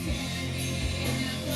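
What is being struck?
Nothing is struck.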